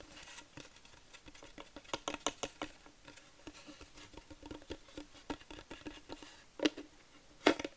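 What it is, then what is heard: Wooden plaque tapped with nails. Long nails tap quickly on a flat wooden plaque sign, making a soft, irregular patter of dry, clicky taps with a faint tone near 300 Hz and a bright top. Each tap dies away almost at once, and two louder, sharper taps stand out near the end.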